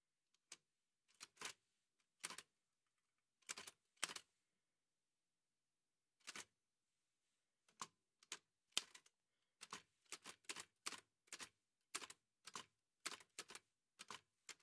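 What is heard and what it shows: White satin-gloved fingertips type on the keys of a large, heavy old Remington manual typewriter with a dark painted metal body and paper loaded. Sharp, bright mechanical clacks come in irregular bursts with short pauses between them, each strike dying away almost instantly.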